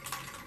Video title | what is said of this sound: Jan 6 JAM Time | you shake it but you can actually hear it ringing even though it's hitting the container